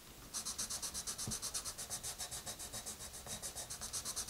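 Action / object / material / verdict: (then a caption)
scrape / wooden colored pencil on a paper coloring book page / paper / none. A dark wooden colored pencil with a red end makes dense scratching strokes on the page of an open paper coloring book lying flat. About 24 quick, fairly even back-and-forth scratches are heard as soft, bright, hissy rasps with little low end.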